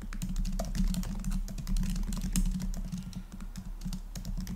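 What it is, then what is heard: Laptop keyboard with plastic keys. Fingertips type fast on the black plastic keys of a rose-gold laptop, producing a rapid, uneven stream of soft, short key taps. The taps blend into a steady clicking patter over a dominant low, muffled rumble, with only faint bright edges.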